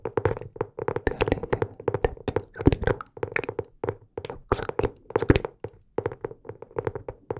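Fingertips and nails tap and scratch the cover of a medium-sized teal hardcover notebook, solid and closed, held upright in both hands near the microphone. A steady run of quick, dry taps comes in uneven bursts with short pauses between them. Each tap is a hollow, low-mid knock that dies away almost at once.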